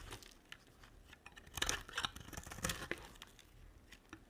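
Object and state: Glycerin soap bar being shaved.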